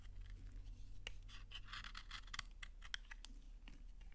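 A utility knife scrapes thin shavings off a solid, dry pink soap bar held in the hand. The result is a run of quick, bright, crunchy scraping strokes with sharp crackles over a steady low hum.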